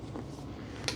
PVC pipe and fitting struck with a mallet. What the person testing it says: You can hear the difference. It's a very obvious pitch change.